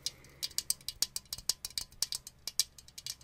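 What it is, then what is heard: Clear acrylic grid organizer. A clear acrylic grid organizer, a hollow, empty plastic lipstick holder with many small square compartments, is held in the hands and tapped and scratched with the fingernails along its grid walls. About nineteen quick, bright, clicky taps ring out in an uneven rattling rhythm, each dying away almost at once with almost no low end.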